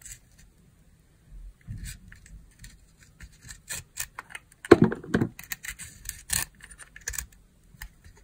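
A metal utility-knife blade carves and scrapes thin shavings from a round, translucent pink, palm-sized glycerin soap bar with embedded loofah sponge, held in one hand with long nails. It makes a quiet series of short, dry, crunchy scrapes and crisp ticks with bright edges, the strongest crunch coming just before the five-second mark.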